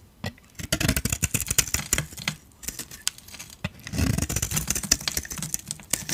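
A metal utility blade scrapes white, crunchy shavings off a solid rectangular dry soap bar with a purple coating and a white interior. A rapid run of dry, crisp scraping crunches sounds bright and gritty, with short pauses between strokes. Each crunch cuts off almost at once.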